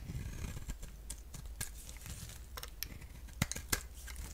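A box-cutter blade shaves curls off a solid orange-core bar of soap held in the hand. Soft, irregular scraping strokes mix with crisp, bright cuts and a few sharper snaps over a faint low hum.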